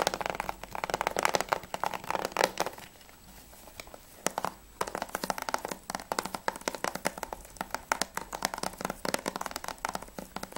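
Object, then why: Plastic game case. Fingernails tap and scratch rapidly on a plastic Battlefield 3 PS3 game case, first on the back and then on the front cover. The result is a dense run of short, dry, clicky taps with scratchy texture, broken by a brief quieter pause around three to four seconds before the fast tapping resumes.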